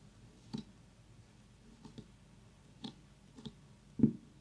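Long nails tap and click on the hard rind of a very small whole orange pumpkin while an essential-oil diffuser runs nearby. Short, dry clicks with a low, dull knock come at uneven intervals over a faint steady background hiss, and the last tap is the loudest.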